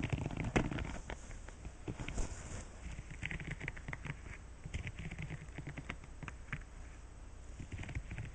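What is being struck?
Silicone scrubber pad.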